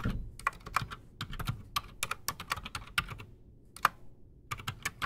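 Both hands type fast with their fingertips on a solid, full-size black Redragon mechanical keyboard with PBT plastic keycaps and silent switches, resting on a desk. A rapid, uneven run of short, dry key clicks comes through, each with a bright tap around 1.2 kHz over a soft low thud, with brief pauses between bursts.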